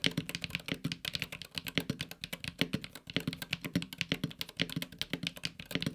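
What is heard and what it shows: Fingertips of both hands type quickly on a LUMINKEY Magger68 Pro HE, a 65% mechanical keyboard with a silver aluminum case and grey and red PBT keycaps. The result is a dense, steady stream of short, crisp keystrokes, each with a bright click on top and a low, rounded thock beneath, and the sound dies away almost instantly.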